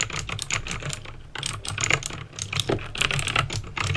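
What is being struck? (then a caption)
Plastic mechanical keyboard. Fingertips with painted nails type steadily on a backlit plastic mechanical keyboard with clicky green switches. A rapid, uneven stream of sharp, bright clicks and clacks rides over a faint low hum.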